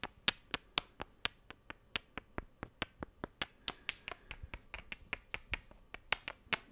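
Two small, solid, light wooden cubes are tapped together with the fingers in quick clicks. About 31 sharp, dry, bright clicks come in an uneven, steady stream, each dying away at once with no ring.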